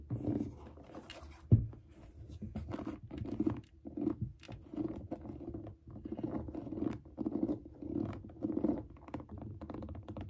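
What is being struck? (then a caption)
Suede and mesh sneaker upper. Long nails scratch and tap the suede upper and mesh panel of a grey suede sneaker resting on a desk. Soft, muffled, low-pitched scratching comes in short rhythmic bursts, broken by one sharper, louder tap early on.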